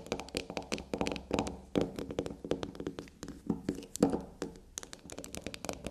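A small solid black unicorn-shaped soap bar standing on a table is tapped and scratched quickly with long black nails. Dense, rapid, dry clicks and short scrapes run continuously, with a hollow low-mid tone around 277 Hz and bright nail ticks on top.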